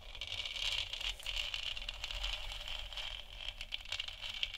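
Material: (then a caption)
Plastic. Long nails on both hands tap and scratch the top and sides of a lit, hollow plastic moon lamp sphere. The result is a steady, dense stream of quick clicks and scratchy rattling, bright and crisp with a strong band around 3 kHz and very little ring after each touch.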